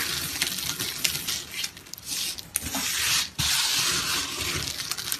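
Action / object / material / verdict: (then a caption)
scrape / grated soap strands / soap / none. A heap of brown, dry, brittle grated soap strands on a mesh mat is scooped, rubbed and crumbled by hand with the fingertips. The result is a bright, crackly crunching with sharp grainy snaps over a dense rustle, swelling and easing with brief quieter gaps.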